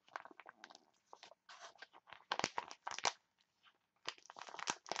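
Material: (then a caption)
Foil laminate. A printed foil-laminate green tea face mask sachet is crinkled and crushed by hands with long nails. The result is a rapid run of sharp, bright crackling crunches in uneven bursts with brief quiet gaps. Each crackle cuts off almost instantly, with almost no low end.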